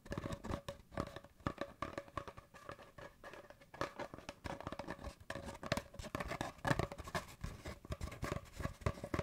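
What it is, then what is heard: Cardboard paper towel tube. An empty, hollow cardboard paper towel tube is held horizontally in both hands and tapped and scratched with fingertips and nails. Quick, dry, hollow taps mix with soft scratching in a continuous irregular patter. The sound is quiet and weighted toward the low end, and each tap dies away almost instantly.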